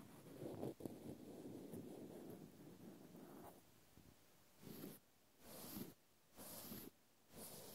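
A cotton swab scratches the side of a small, solid, speckled natural cork stopper held in the hand. It starts with a steady, soft, low scratchy rubbing for a few seconds, then a quiet pause. Four separate longer strokes follow, each a brighter, hissing scrape.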